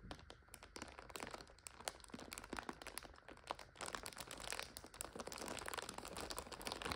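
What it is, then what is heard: Plastic instant noodle multipack. Hands squeeze and crinkle a full plastic multipack of instant noodles while long nails scratch across the film. The result is a dense, continuous stream of bright, sharp crackles and crunches that swell and ease throughout.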